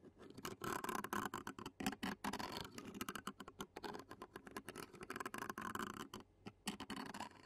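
Clear plastic fork tines scratch along the black metal mesh microphone grille of a handheld Zoom recorder. Rapid, uneven scratchy strokes and crackly patters run almost continuously, with a few brief pauses. Each stroke is short and dry, with a faint hollow mid-range body.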